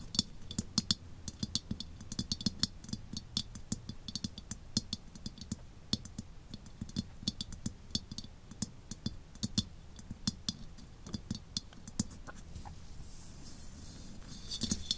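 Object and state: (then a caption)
Steel helmet. Long painted nails tap and scratch the outer shell of an olive-green steel WWI German Stahlhelm-style helmet, hollow and empty, resting upside-up on a desk. A steady run of quick, bright clicks rides on a soft low thump, with a faint scratchy hiss between the taps. Each tap dies almost at once, with no lingering ring from the steel.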